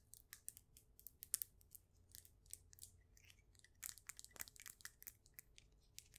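Long nails tap and scratch across a solid, faceted, polished stone polyhedron. The result is a quiet, rapid stream of sharp, bright clicks and dry scratching strokes with almost no ring, over a faint low hum and a thin steady tone.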